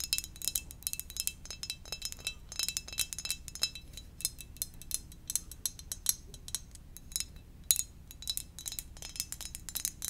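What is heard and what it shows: Gentle tapping on a ceramic donut-shaped mug gives a quick, irregular run of light, bright clinks with a high, glassy ring that dies away almost at once. A faint low rumble sits steadily underneath the taps.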